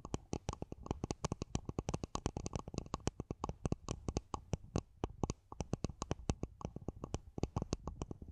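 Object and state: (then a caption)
Plastic mini planter pot tapped with nails. Long nails grip and tap the sides of a small, empty, matte black hollow plastic mini planter pot covering the top of a microphone. Dozens of quick, dry clicks come in a fast, uneven run, each with a boomy low thump and a short bright tick that dies away at once.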